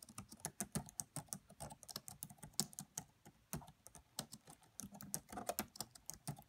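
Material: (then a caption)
Plastic. Both hands type on a red laptop's black plastic chiclet keys, tapping with fingertips and long French-manicured nails against its hollow body. The result is a quiet, steady stream of short, dry clicks with bright, clacky tops and a light hollow thud beneath, with a brief pause near the middle before the typing resumes.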